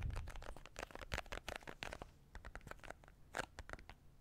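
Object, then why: Small cardboard card case. A small printed cardboard card case, likely hollow, is held in both hands close to the mic and tapped and scratched with fingertips and nails. The result is a fast, uneven run of dry, crunchy taps and scratchy strokes, each stopping almost instantly, over a soft low thump.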